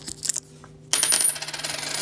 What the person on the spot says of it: it has that ring but you still have that thud